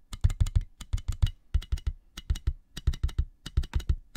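Fingertips and nails tap a clear inflated plastic air-column cushion bag with hollow tubes, held in both hands and lifted up at the end. About 23 quick, dry taps come in irregular bursts, each a short hollow low thump with a bright clicky edge that dies away almost at once.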